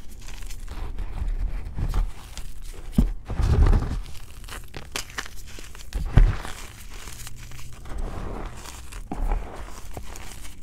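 Fingertips with short painted nails press, rub and crumble a large flattened pile of crushed, dry, powdery white BSN gym chalk (magnesium carbonate) on a green tray, with an intact solid block at its left edge. Soft, continuous crunchy crumbling and crinkling fills the clip, with a few louder, deeper crunches standing out in the middle. The sound is dull and mostly low, with quick, dry crackles that die away almost instantly.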